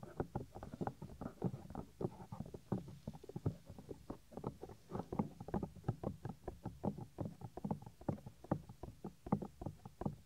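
Fingertips rub and scratch the white, soft silicone ear of a 3Dio binaural microphone, a small, solid piece. The result is a steady run of dense, muffled scrapes and soft thumps, heavy in the low end with almost nothing bright, each stroke dying away almost instantly.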